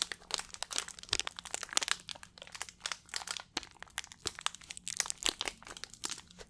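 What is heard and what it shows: A small, hollow, clear plastic water bottle with a blue cap is gripped in both hands and squeezed and crinkled by the fingers. It gives a steady stream of quiet, bright crinkling and crackling with short, sharp snaps. There is almost no low end.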